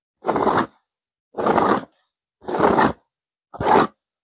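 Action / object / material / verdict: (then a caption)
scrape / stuffed velvet cushion / velvet fabric / none. Long fingernails of both hands vigorously scratch a stuffed pillow with a blue burnout velvet cover and a cream petal pattern. Four separate bursts of dry, broadband scratching are heard, each with a bright high hiss and separated by short silences.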